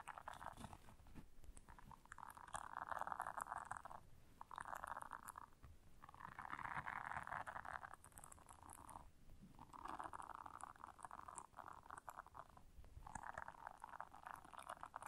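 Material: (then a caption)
Silicone. Long nails scratch a round blue silicone bristle scrubber while the hands squeeze and fold the pad. Quiet bursts of dense, crackly scratching are heard, centered around 1 kHz, separated by brief softer pauses over a low background rustle.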